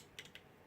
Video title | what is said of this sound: Saberforge outcast proffie pixel install | hear the rattling a little bit whenever I shake it